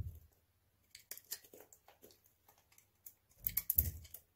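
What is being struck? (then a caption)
Bar of soap cut with a blade. A dry, hand-sized solid white bar of soap with blue polish remnants is held in the hand and shaved with a utility knife blade into crunchy flakes. Short, bright scraping crunches come in quick bursts, with deeper, fuller cuts at the start and near the end.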